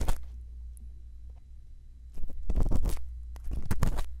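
A thin bamboo earpick, held in fingertips with long lilac nails, scratches and scrapes inside the canal and concha of a solid, soft white silicone ear model mounted on a round binaural microphone housing. Close, dry scratching and scraping bursts come in irregular clusters, loudest near the start and in the second half, over a steady deep low rumble.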